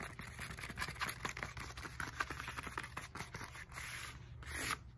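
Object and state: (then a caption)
Textured foam roller tapped with nails. Long nails tap quickly on the foam knobs of a black textured foam roller with a hollow core. The result is a rapid, dry run of short, crisp, scratchy ticks with little ring, over a faint low hum, ending in a brighter, more sustained rasp.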